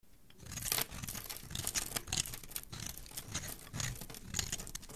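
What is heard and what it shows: A hand-sized solid red bar of soap, held in one hand, is scraped and shaved along its edge with a metal blade, and curls of soap fall onto the surface below. Repeated crisp, bright scraping strokes blend into a continuous dry rasp with a soft low rustle underneath.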